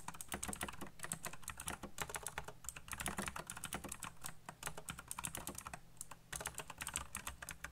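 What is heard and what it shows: Fingertips type very fast on a backlit plastic mechanical keyboard with black plastic keycaps, producing a dense, rapid stream of sharp, bright key clicks. Short pauses break up the flurries, and a low hum sits underneath throughout.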